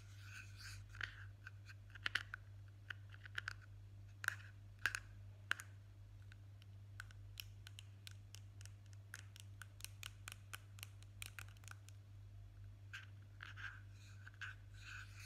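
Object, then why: Small plastic cream jar with screw lid. A small, hollow blue plastic Nivea jar with a screw lid is scratched and tapped on its lid and side with fingertips and short nails while being turned in the hands. The result is a quiet stream of dry, short clicks and scratchy rasps centred around 1.6 kHz with bright edges, over a steady low hum.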